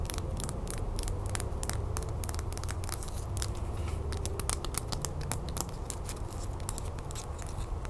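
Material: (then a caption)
Plastic. Long nails rapidly tap and scratch along the letters of a small, thin, solid pink plastic "Happy Birthday" cake topper with picks, held in the hand and stood on a wooden table. Quick, bright, dry clicks and scrapes with almost no ring sit over a steady low rumble throughout.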